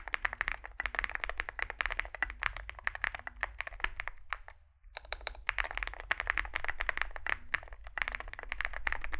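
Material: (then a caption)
Plastic. Two hands type with their fingertips on a Zoom65 65% mechanical keyboard with a solid metal case and grey and white SA-profile plastic keycaps, resting on a desk mat. Fast, dense key presses make short, sharp clacks centered around 1.8 kHz with bright edges, over a steady low rumble. The typing pauses briefly just before the midpoint, then resumes at the same steady pace.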